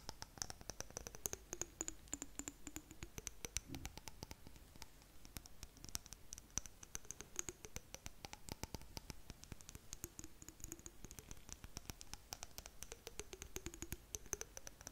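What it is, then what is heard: Glass jar tapped and scratched with nails. A small glass jar with blue contents, held in both hands close to the mic, is tapped and scratched with long nails. Dense, rapid, crisp clicks and taps mix with soft scratching, over a faint high ringing tone that slowly rises and falls. The overall level stays quiet and steady.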